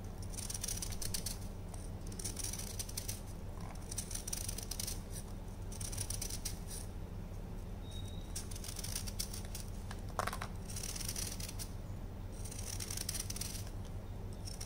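A hand-sized solid block of dyed orange dried baking soda, held in one hand, is shaved with a patterned knife blade and crumbles into powder in a white tray. Repeated bursts of crisp, bright scraping and crunching come in waves over a steady low hum.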